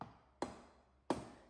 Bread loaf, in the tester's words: They should sound hollow. That means our breads are baked perfectly.